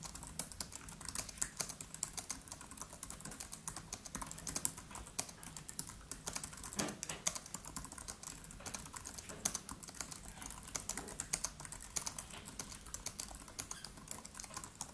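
Fingertips of both hands type rapid taps on the black plastic keys of a MacBook Pro laptop with an aluminium body. Quiet, bright, crisp key clicks follow one another steadily for the whole clip, each dying away almost instantly.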